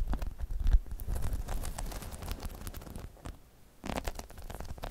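Long chrome nails on both hands scratch a hollow, dome-shaped spiky rubber balance pod. The result is a dense, low, rumbling scratch with soft crackly clicks and brushing noise, fading to a quieter lull near the end before the scratching picks up again.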